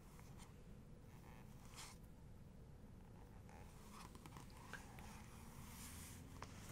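Long nails scratch and trace across a glossy paper photo book page, then a palm rubs over the paper. Soft, dry scratching swishes rise and fade over a steady low hum, with a few brief brighter scrapes toward the end.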